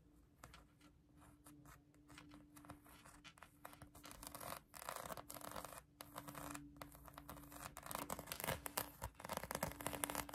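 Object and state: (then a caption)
Foam squishy toy being scratched. Long acrylic nails scratch a pink polyurethane foam donut squishy toy held in the hand, producing dense, irregular bursts of bright, raspy scratching. The scratching grows louder and busier toward the end, over a faint steady low hum.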